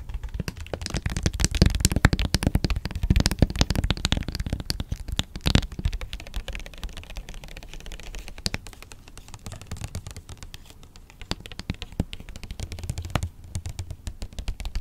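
Long nails tap rapidly on a small, rigid, hollow white cardboard electronics box held in the hands, producing quick, irregular, typing-like clicks. The taps are short and dry with a low, hollow thump, busiest and loudest in the first few seconds before thinning to a lighter, scattered patter.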